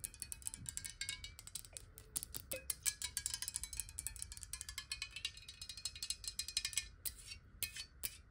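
Long nails tap fast on a clear glass water bottle held upright in both hands. A rapid, steady stream of bright, clicky ticks with a very short glassy ring; the taps thin out into a few scattered ones near the end.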